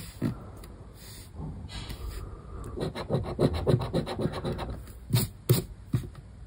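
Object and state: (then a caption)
Scratch card being scraped. The edge of a coin held between the fingers scrapes repeatedly across the latex scratch-off panel of a flat, thin paper lottery scratch card lying on a wooden table, removing the coating over its letter grid. Soft, gritty rasping strokes start quietly, then build into a quick run of short scratches with dull low knocks in the middle. A few sharper, brighter scrapes come near the end.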